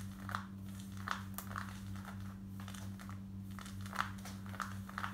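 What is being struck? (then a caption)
Cotton denim jeans. Long nails scratch quickly across light grey cotton denim jeans worn on the body, working over the hip and back pocket area. Short, dry, scratchy bursts centered around 1.3 kHz come in a fast, uneven rhythm over a steady low hum. Each scrape cuts off almost at once with no ring.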